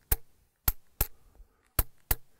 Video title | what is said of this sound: Placing Cams | This sounds hollow, and when you look, there's a thin crack. So it does seem like there's a semi-detached section of rock here.